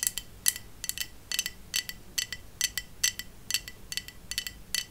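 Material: Glass.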